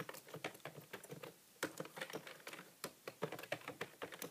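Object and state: Plastic computer keyboard.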